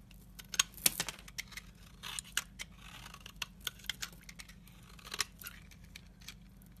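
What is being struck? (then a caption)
Translucent soap bar scraped with a knife blade. A utility knife blade scrapes fine powder from the surface of a solid, translucent amber soap bar held in the fingers. The scraping comes as a quick, irregular series of short, dry, crisp strokes that are bright and high-pitched with almost no low end. Each stroke stops sharply with no ring, over a faint low hum.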